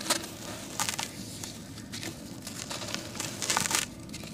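A dry, porous, palm-sized grey sand-cement chunk is held in a basin of cement powder while fingertips and short nails scratch and crumble its edge. Bright, crackly crumbling and gritty scraping come in short bursts over a low background hiss. Bits break off and fall away.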